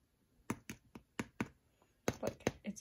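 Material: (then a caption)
Bread crust. A freshly baked gluten-free bread loaf, just out of the oven, is tapped lightly with a knife nine times, giving short, dry, crisp knocks that stop almost instantly. The crust sounds beautifully firm, and the loaf is baked through, though a little crumbly.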